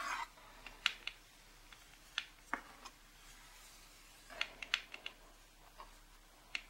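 Long pink nails and fingertips tap the front cover of a printed cardboard box of a charcoal drawing set lying flat on a wooden table. About twelve quiet, dry, bright clicks come in uneven clusters, each stopping at once with no ring, after a brief faint scrape at the start.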